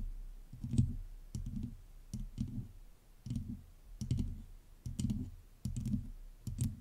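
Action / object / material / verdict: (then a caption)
tap / metal mesh microphone grille / metal mesh / none. Long nails of both hands scratch and tap the hollow metal mesh head of a black USB microphone. Irregular bursts of dull, low scraping thumps centered near 120 Hz come with faint bright clicks, each burst fading quickly before the next.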